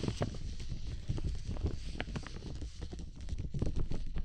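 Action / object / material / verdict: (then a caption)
tap / plastic umbrella canopy / plastic / none. Fingertips tap a large clear plastic dome umbrella held over the microphone, then hands at the side scratch and rub its plastic surface. The result is a dense, uneven patter of soft, low, muffled thumps with short dry rustles and brief brighter scratchy streaks, each dying away almost instantly.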